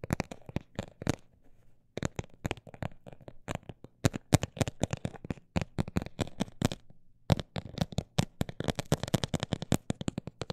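A textured cosmetic bag is tapped with rapid, uneven bursts of short, dry taps that have a soft crinkly edge and a low, muffled body. Brief pauses break the taps near two seconds and again near seven seconds before the tapping picks back up.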